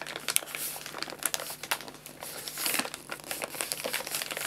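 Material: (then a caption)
Paper. Hands squeeze, fold and crinkle the paper top of a white paper bag of guinea pig food filled with pellets. The result is a continuous stream of dry, bright crinkles and crackles with sharp little snaps, almost no low end, and no ring after each sound.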